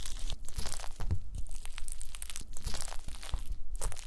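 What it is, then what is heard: Gelatin jelly cubes being crushed. A pile of small pink translucent solid gelatin jelly cubes on a white mesh mat is pressed and crushed with the round end of a wooden masher. The result is a dense run of wet, crunchy crushing and squishing sounds with bursts of crackle and low thumps.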